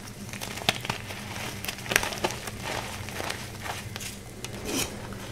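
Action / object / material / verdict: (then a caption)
scrape / gym chalk block / chalk / none. A solid rectangular block of pink gym chalk, held in one hand, is crumbled and crushed by the fingers of both hands into a powder pile on top of purple powder. Dry, gritty crunches and bright crackles come in short, uneven bursts, with a few sharper snaps standing out. A faint steady low hum runs underneath throughout.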